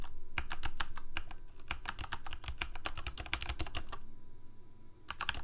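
Fingertips of both hands type rapidly on a full-size Corsair K68 backlit plastic mechanical keyboard with Cherry MX Red switches. Quick, sharp key taps with a dull low thump run in an uneven stream, pause for about a second, then resume in a short final burst.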